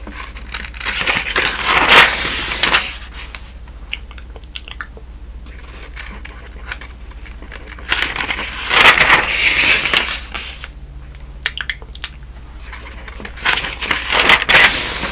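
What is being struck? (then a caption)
Thin newsprint pages of a thick telephone directory. Fingers with long nails turn the crisp, thin newsprint pages of a thick open telephone directory. Three louder bursts of bright crinkling and rustling come as pages flip over, with quieter soft page rustles and light taps between them over a faint steady low hum.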